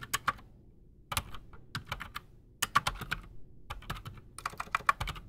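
A full-size black Redragon mechanical keyboard with PBT plastic keycaps and silent switches sits solid on a desk while both hands type fast with their fingertips. Short, dry clicky taps come in quick bursts separated by brief pauses, each keystroke a sharp, bright tick with a soft low thud under it and almost no ring.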